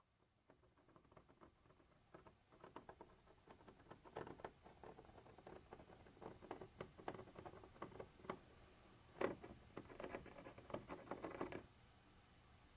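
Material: Plastic.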